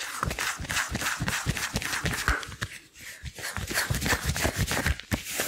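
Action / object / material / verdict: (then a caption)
scrape / rubber gloves / rubber / none. Long blue rubber gloves worn on both hands rub against each other, one gloved hand sliding along the other, palm over palm and over the fingers. The result is a steady run of squeaky, rubbery strokes with soft low thumps and bright squeals, dipping briefly quieter around the midpoint before continuing.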